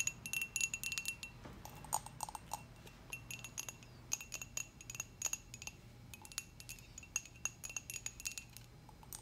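Long acrylic nails tap rapidly on the rim and side of a dark glossy hollow ceramic coffee mug. The quick, light clicks ring with bright, glassy tones near 2.7 kHz and higher, like a chime, and each fades almost at once. A faint low hum sits underneath.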